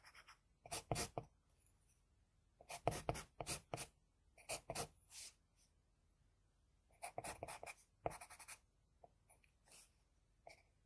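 Fingers hold a wooden HB pencil and draw short strokes with its graphite tip on a flat sheet of drawing paper. The result is quiet, dry, bright scratching in quick bursts and clusters, separated by brief silent pauses.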